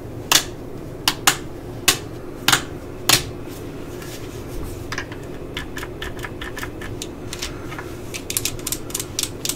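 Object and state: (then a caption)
Plastic cordless drill housing tapped. Long nails tap and scratch the hollow plastic housing and collar of a yellow and black plastic cordless drill, first as it rests on the table and then as it is held. Six sharp, bright clicks come slowly and spaced apart, then give way to quicker, lighter ticks and faint scratching over a steady low hiss. Each click is short and dry, with almost no ring.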